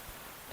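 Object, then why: Jackfruit on the tree. A jackfruit hanging on a tree beside a mountain trail is knocked once to check whether it is ripe. After quiet background, a single short, dull knock lands near the end, with a mid-pitched body and almost no ring. No ripeness verdict is given, and the fruit is left unpicked because it belongs to someone else.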